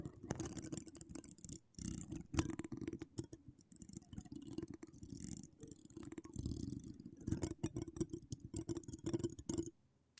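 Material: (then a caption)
Metal mesh. Long acrylic nails decorated with wire spirals scratch across a hollow metal mesh microphone grille. The result is a close, dense rasping with a heavy low rumble and rapid bright clicks, coming in uneven bursts for nearly ten seconds. It then drops to near silence at the end.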